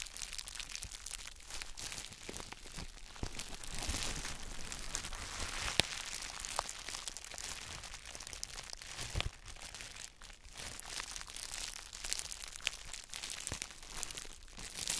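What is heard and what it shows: Gloved fingers squeeze and scratch the clear plastic bubble wrap around a palm-sized gym chalk block held in both hands. The result is a steady, bright crinkling and crackling with a few sharper snaps poking out, most notably one near the middle.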